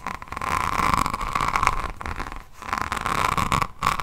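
A hardcover diamond painting notebook with a resin rhinestone cover is held close and scratched across its beads with long fingernails of both hands. The result is a dense, gritty scraping with a persistent bright tone near 1.1 kHz, swelling and fading in bursts with brief pauses.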